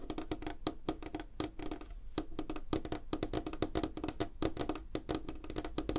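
Fingertips and nails tap fast on a solid, light wooden tabletop, with both hands spread apart. The result is a rapid, uneven patter of short, dry knocks centred around 300 Hz. Each tap dies almost instantly, with a light, bright clicky edge from the nails.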